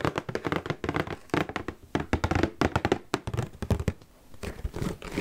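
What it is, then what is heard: Cardboard cracker box, full. A full, large red Cheez-It cardboard cracker box is knocked and tapped with fingertips and nails in a quick, uneven series. Each hit is a short, dull, hollow thunk that stops almost at once, with low-mid body and little brightness. Near the end the tapping softens into a faint scratchy brushing.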